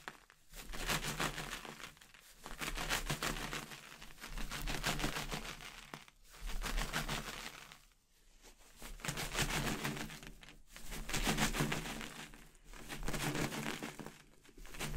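A clear, inflated latex balloon with confetti inside is held by the knot and shaken, so the confetti rattles against the latex. The result is a dense, bright, crinkly patter that swells and fades in repeated waves, with brief quiet dips between shakes over a faint low hum.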